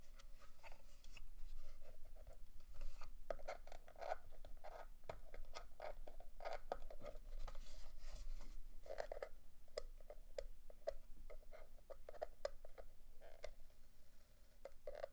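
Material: Plastic.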